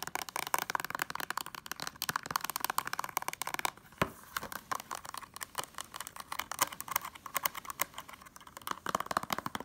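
Long nails rapidly tap and scratch the ridged plastic spine and edges of a hollow blue plastic Blu-ray case. The result is a dense stream of sharp, dry clicks and scratchy rasps with a bright ring around 1 kHz. A brief pause near the middle ends with a single sharp click before the fast tapping resumes.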